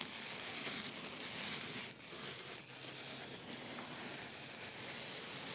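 Fingertips with short painted nails scratch, press and rub the surface of a large, flat, black open-cell foam pad lying in a cardboard box with a white insulated liner. The result is a steady, bright, crackly rustle, like a soft fizz, with a brief quieter dip partway through.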